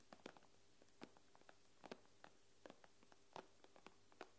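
Long nails tap on the glass screen of an iPad, making thirteen quiet, irregular clicks. Each tap is a short, bright tick with a faint low knock that dies away almost at once, and the taps are spread across the clip with a hushed background between them.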